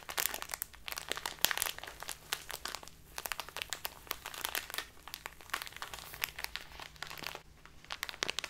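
A full plastic bag of dark loose tea is crinkled in the hands, then pressed flat on a tablecloth. The result is a dense, bright crackle of sharp, dry plastic crinkles and snaps that varies in intensity throughout.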